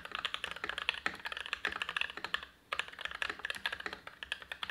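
An Everglide SK87 dual-mode tenkeyless mechanical keyboard, with lubed Gateron INK Black v2 switches, black, white and pink PBT dye-sub keycaps, a steel plate and a foamed ABS plastic case, sits on a desk mat and is typed on continuously with the fingertips of both hands. About 30 short, dry keystrokes give bright clacks centered around 2.6 kHz with almost no low end. There is a brief pause near the middle before the typing resumes.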